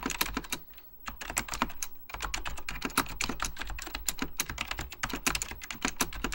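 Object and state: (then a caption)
Mechanical plastic computer keyboard. Fingertips of both hands type on a full-size beige plastic Apple Extended Keyboard II with mechanical key switches. Rapid, crisp clicky keystrokes each carry a bright snap and a low thud, with a short lull around the one-to-two-second mark before the steady typing resumes.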